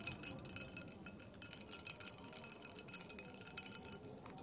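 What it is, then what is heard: Glass of ice and cola. Long red fingernails tap rapidly on a tall clear glass tumbler of cola and ice cubes held in a hand, while the ice rattles inside. It makes a quick, bright clinking and chiming patter with very short, high rings and little low end.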